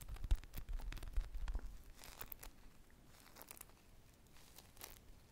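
A hand-sized polyurethane foam squishy shaped like an ice-cream popsicle with a purple glaze is scratched along its textured sprinkle surface with long nails and squeezed with the fingers. Dense, irregular scratchy crinkling and soft crunching bursts are heard, louder in the first two seconds, then fading to quieter rustles with occasional brighter scratches.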